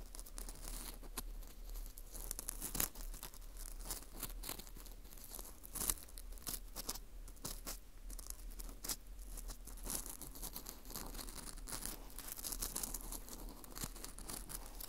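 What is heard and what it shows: A metal hook pick scrapes around inside the hole of a dry, porous ring of dried wheat gluten (fu) held in a gloved hand. Quiet, steady crisp scratching and crunching continues throughout, with a constant low hum beneath and occasional sharper crackles standing out.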